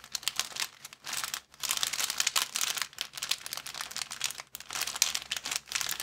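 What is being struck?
Thin plastic bag.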